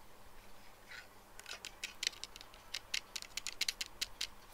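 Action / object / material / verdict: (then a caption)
tap / plastic pinhole glasses / plastic / none. Fingernails tap the lenses and frame of small plastic pinhole eyeglasses, with black perforated lenses and a clear frame, lying on a desk. After a faint soft rustle, a quick irregular run of light, dry, bright clicks follows, each dying away almost instantly over a low, quiet background hiss.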